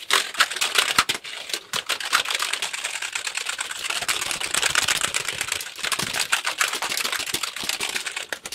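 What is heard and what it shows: A black, hollow plastic computer keyboard is held up in both hands while fingertips tap its keys very rapidly. The result is a dense, continuous stream of bright, crisp plastic clicks with almost no low end. Each tap dies away almost instantly.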